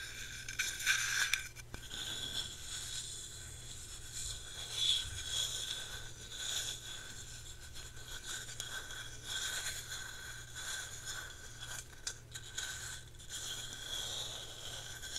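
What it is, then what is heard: Ceramic plant pot. Long nails scratch the sides and bottom of a small white matte ceramic pot holding an artificial plant. The result is a quiet, continuous bright scraping with a faint ringing tone, swelling and fading with each stroke over a steady low hum.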